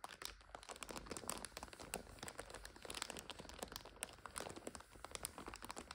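Long acrylic nails scratch and tap the crinkly plastic wrapper of a full multipack of instant noodles lying flat. The result is a dense, quiet stream of bright crinkles, scratchy rustles and quick dry taps that stop dead with no ring.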